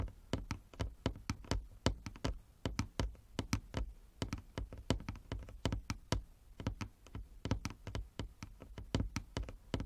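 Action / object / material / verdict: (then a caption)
tap / wooden chess board / wood / none. Fingernails tap a wooden chess board in a rapid, uneven stream of sharp knocks. Each dry click decays almost instantly, with a low, woody thump under a brief bright edge.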